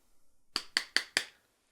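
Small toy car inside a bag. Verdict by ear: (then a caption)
Hard. Four sharp, bright knocks on a hard toy car at the bottom of a bag, each a quick high click that dies away fast. The object sounds hard, like a rock rather than something soft like a pillow.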